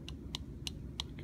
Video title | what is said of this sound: Zool 4640 Primates Lab - Video 4, Haplorrhini, Simiiformes, Catarrhini | You can hear me tapping on the bulla right there